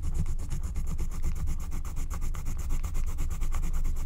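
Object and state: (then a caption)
Scratch-art card being scratched. A wooden stylus scratches back and forth across the coloured area of a flat, thin, black-coated scratch-art card made of wax-coated paper. The result is a dense run of quick, dry, rasping strokes with a steady low rumble underneath.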